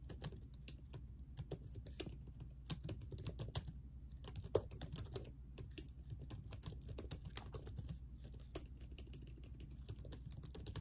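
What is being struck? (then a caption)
Laptop keyboard with plastic keys. Long nails and ringed fingertips type steadily on a laptop keyboard with plastic keys set in a silver laptop body. The quick, dry key taps click brightly over a constant low hum, with occasional sharper strokes standing out.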